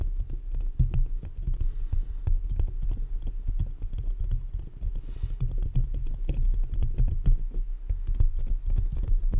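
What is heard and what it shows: Fingertips and short nails of both hands tap and scratch the hollow metal mesh grille of a black USB condenser microphone held upright, in quick bursts. Close, boomy low thumps arrive in a rapid, continuous stream, with faint scratchy rustling mixed between them.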